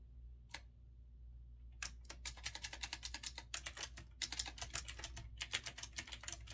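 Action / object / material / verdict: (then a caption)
tap / mechanical keyboard with round plastic keycaps / plastic / none. A retro typewriter-style mechanical keyboard with round backlit keycaps is typed on steadily by fingertips. A single key click is followed by a pause, then a fast run of bright, sharp clacks with very short ring over a low steady hum.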